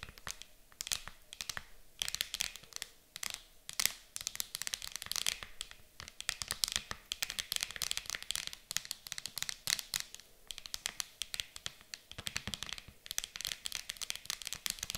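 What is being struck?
Hard plastic game case.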